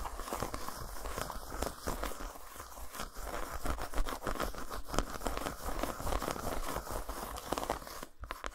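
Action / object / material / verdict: scrape / solid dark chocolate bar / chocolate / none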